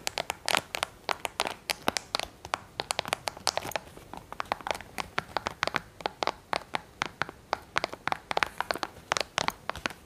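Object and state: Plastic TV remote control.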